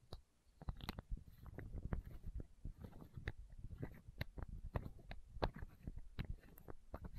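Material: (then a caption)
Plastic. Long nails tap and scratch a small clear plastic eye drop bottle and its cap, held horizontally close to the microphone. Quick, dry clicks and brief scratches come in a steady stream, thudding and close, with occasional bright ticks and no ring after each touch.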